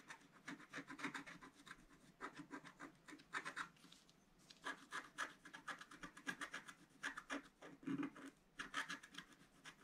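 A wooden stylus scratches at the bottom edge of a black-coated scratch-art card lying flat on a table. Quick, dry rasping strokes come in rapid clusters separated by brief pauses, with a bright, papery texture centered in the upper-mid range and almost no low end.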